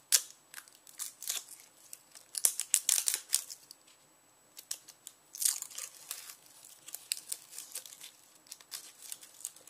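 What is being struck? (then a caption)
Whole onion with papery outer skin. Fingers peel the crisp, papery brown skin off a solid whole yellow onion held in hand, pulling it away in strips. Bright, dry crackles and crinkling tears come in dense bursts, with a brief quiet pause in the middle before the crisp rustling picks up again.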